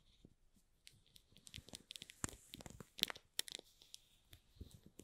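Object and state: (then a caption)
Shrink-wrapped cardboard box, plastic film scratched. Short fingernails and fingertips scratch and squeeze the plastic film on top of a small, hollow shrink-wrapped cardboard box. Bright, crisp crinkles and sharp crackles come in an irregular run of quick snaps, with a faint high hiss between them and very little low end.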